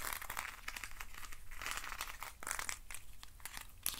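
Fingernails scratch and rub along the ribbed sides of a hand-sized hollow hexagonal box made of thin wooden sticks. The result is a continuous, dry, crinkly rasp of rapid short clicks and scrapes, bright and papery, with no ringing tail.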